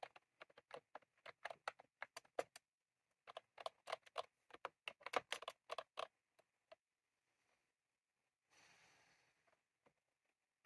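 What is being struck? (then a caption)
Plastic mechanical keyboard with round keycaps. Both hands type rapidly with their fingertips on a full-size retro-style plastic mechanical keyboard with round cream plastic keycaps and a plastic case, resting on a desk. Quick bursts of sharp, crisp clicky key taps with a bright edge come in two runs separated by a short pause. A few scattered taps and a brief soft rustling hiss follow near the end.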